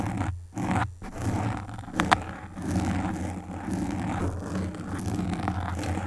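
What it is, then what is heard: Foam microphone windscreen. Long pink nail tips scratch and stroke the black foam windscreen on a desktop microphone, making close, muffled scraping and rustling with a deep, boomy low end. The scratching comes in rough, continuous strokes, broken by two short pauses near the start and a couple of sharp clicks around the two-second mark.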